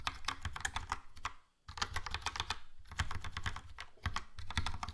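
Fingertips type on a Logitech POP Keys, a compact, hollow plastic mechanical keyboard with a yellow plastic case and round black and grey plastic keycaps. It gives a fast, steady stream of short, clacky taps with a deep, hollow thud under bright key clicks. The taps stop for a brief pause near the 1.5-second mark, then continue.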